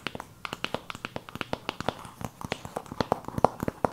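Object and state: Cardboard eyeshadow palette.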